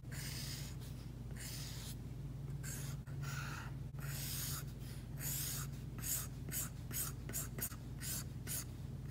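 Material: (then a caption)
Plastic film. A plastic Apple Pencil tip taps on and drags across a flat, solid iPad screen fitted with a matte plastic screen protector, drawing line strokes. It makes bright, scratchy strokes that speed up into short quick bursts toward the end, over a steady low hum.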